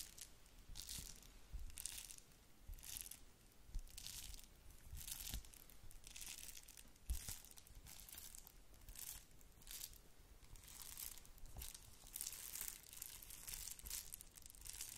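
A pink-red plastic bubble-wrap padded mailer envelope is scratched and crinkled by long nails. The result is a steady run of bright, rustling scratches and crinkles. The crinkling comes in repeated bursts, with low thumps underneath where the plastic is handled.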